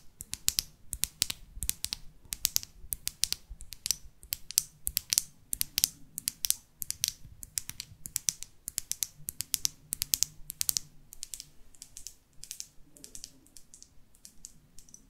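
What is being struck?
Small plastic lip gloss tube with metal cap.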